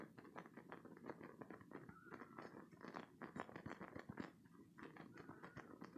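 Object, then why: Spiky silicone squeeze toy. A green spiky silicone stress toy is gripped in both hands, squeezed, and its spikes are scratched with fingertips and short nails. The result is a quiet, dense stream of rapid crackly, crunchy scratches and rubbery squishes, with a faint squeaky tone now and then.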